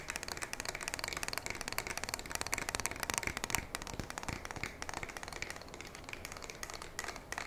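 Long nails tap and scratch along the body of a black polymer and metal pump shotgun held upright. The result is a steady stream of quick, dry, bright clicks and scratchy rasps that stay fairly quiet throughout, with no ringing after each tap.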